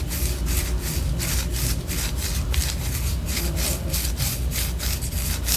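A white solid wax pillar candle, held low, is scratched with long orange nails. Quick, rhythmic rasping strokes give off bright, dry scratching bursts over a steady low rumble, keeping an even level throughout.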